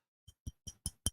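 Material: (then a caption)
Glass. Someone taps five times on a glass bottle of whiskey they were given, which is about three quarters full. Each tap is a short, dull low thump with a faint bright clink on top and almost no ring. The taps come at a steady pace and grow slightly louder toward the end.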